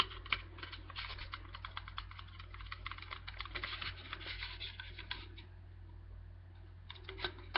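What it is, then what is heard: Aluminium drink can. A tall white Archers aluminium drink can, hollow and held up, is tapped and scratched with fingertips and nails. Dense, quick clicky taps and scratchy rustles run for about five seconds. A brief lull of light scratching follows, then a few sharper taps close the clip.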